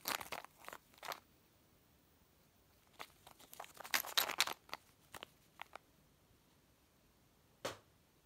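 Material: Plastic.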